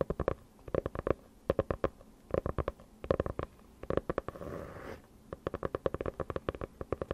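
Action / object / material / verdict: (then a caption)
tap / hardcover notebook with faux-leather cover / faux leather / none. A closed dark hardcover notebook with a faux-leather cover is held in front of a microphone and tapped and scratched on its cover with long nails. Quick clusters of sharp, dry taps alternate, with a brief soft scratching rub in the middle before the rapid tapping resumes.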